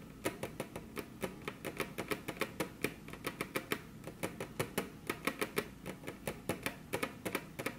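The tips of very long, curved natural nails, on hands crossed over a flat, solid, glossy dark-brown wood-grain table top, tap the tabletop in a steady, quick string of separate taps. Each tap is a short, dry click with a bright tick and a hollow woody body in the low-mids, dying away almost at once against a quiet background.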